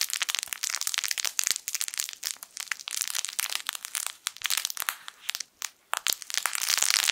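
A yellow, sun-shaped plush fabric crinkle toy with crinkle film inside is held in both hands and squeezed with the fingertips. It gives a dense, continuous run of bright, crackly crinkling with sharp little snaps and almost no low end. Brief pauses between squeezes break up the sound.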